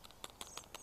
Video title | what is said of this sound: When to pick and how to make more of what is growing | the rattling of the beans inside, so that means the beans are ready